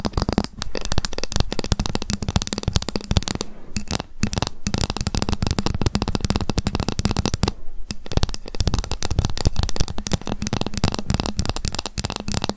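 A ruler is tapped rapidly with long fingernails and occasionally scratched, producing a dense stream of short, dry clicks with a heavy low-end thump. The tapping runs almost continuously, pausing briefly around 3.7 and 7.7 seconds before resuming at the same fast pace.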